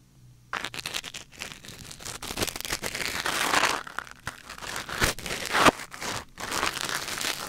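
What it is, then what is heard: Wooden ear pick scraping a silicone ear microphone. A thin wooden or bamboo ear pick, held in the fingers, scratches and scrapes inside the canal of a white silicone ear mounted on a black binaural microphone. The result is a close, dry crinkling and crackling with bright, rustly texture and many quick scrapes that swell and fade in uneven bursts.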